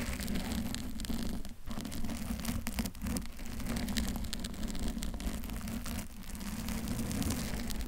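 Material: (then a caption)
Foam. Long pointed nails scratch a medium-sized, soft, textured pink bear-shaped foam cover over a microphone, while a second blue-covered microphone sits untouched. The result is a dense, continuous rustling scratch with a heavy low rumble and constant crackling texture, dipping briefly a few times.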